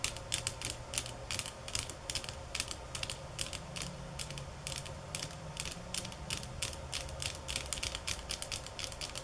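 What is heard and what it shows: Fingernails tap on bamboo sticks at varying speeds and intensities. The result is a rapid, uneven run of short, dry, bright clicks that die away almost instantly, with a faint low rumble steady underneath.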